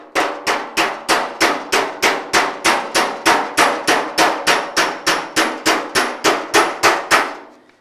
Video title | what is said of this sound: Fender Repair. Fixing a 1956 Chevy Fender. Body work at Eastwood | when you hear it's Hollow you're not connecting so you're going to be putting dents in the panel